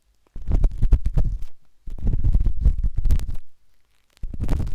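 A metal-tipped dot stick with a wooden handle scratches inside the soft, hollow canal of a pinkish-white silicone binaural microphone ear. Three bursts of dense, rapid, irregular scraping and tapping are separated by short silences. The sound is a deep, muffled rumbling crackle with almost all of its energy in the low end.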